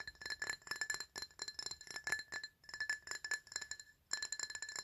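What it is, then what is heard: Glass object. A glass item is tapped in a quick, irregular series of light clinks that each ring briefly at a bright pitch of about 1.7 kHz. After a short pause near the four-second mark, the tapping resumes.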